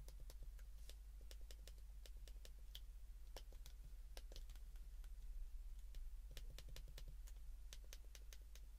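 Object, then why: Plastic flip phone keypad. A white plastic flip phone is held in the hands while its keypad buttons are pressed repeatedly with the thumb and fingertips. Quick, sharp, bright clicks come in an irregular, typing-like stream over a steady low hum.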